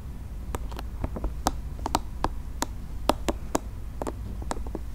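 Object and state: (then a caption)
Soft plastic spiky ball. A soft, multicolored, nubby plastic spiky ball is held in the hands while fingernails scratch and tap its spiky surface. It makes a quick series of short, dry clicks and ticks with bright edges over a steady low background hum.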